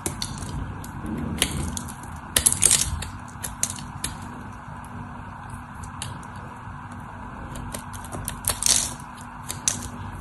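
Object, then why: Bar of soap. A craft knife carves the scored surface of a solid white soap bar held in the hand, giving soft scraping with crisp, bright crackling and snapping clicks. Louder bursts of crumbling cuts stand out near the start and end over a faint steady low hum.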